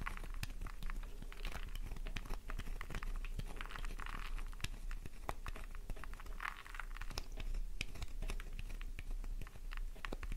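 A solid pink flower-shaped bar of soap held in the palm is scratched quickly with long nails, shedding shavings onto the surface below. The result is a steady stream of dry, crisp scratching and crackly clicks over a low constant rumble.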